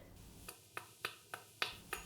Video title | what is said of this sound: Where do I get my TINY eggs? - How To Cook That Ann Reardon - Cooking the worlds smallest eggs | sounds pretty solid when you tap it